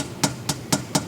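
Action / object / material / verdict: tap / car decorative exhaust tip, metal / metal / none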